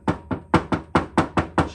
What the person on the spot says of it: un peu plus comme du carrelage qui tombait par terre